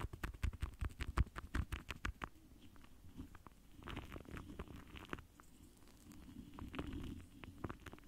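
The foam tip of a pink lip gloss wand dabs and brushes against a large, rounded, hollow metal mesh microphone grille. Quick, soft, muffled taps with a deep, thumping low end come first, then give way to quieter swelling scratchy brushing strokes across the mesh.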